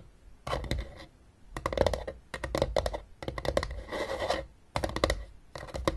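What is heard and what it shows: Long nails scratch and tap the ridged top surface of a closed, hollow blue hard plastic game case. Bursts of dry, rapid clicking and scratching, with a hollow midrange tone, alternate with short quiet pauses.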